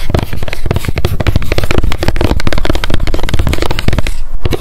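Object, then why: Small plastic pump bottle tapped with fingernails. Long decorated nails tap fast on the label side of a small, square, clear plastic Loretta hair oil pump bottle with a gold pump and clear cap, held in both hands. The result is a dense, rapid stream of short, dry clicks and patters with a strong low thump and almost no ring.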